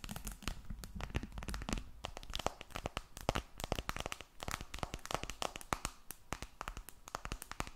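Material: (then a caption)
Glass, aluminum. A glass and aluminum smartphone is held flat above a microphone and tapped and scratched with long red nails. Rapid, sharp clicking taps mix with dry, crinkly scratching over a low, steady rumble, with each tap dying away almost instantly.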